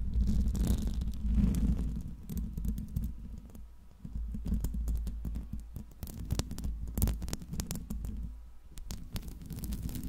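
Long pink nails and fingertips scratch and tap the hollow metal mesh grille of a silver Blue Yeti microphone. The close contact gives a heavy, muffled rumbling scrape, punctuated by irregular sharp ticks and bright clicks.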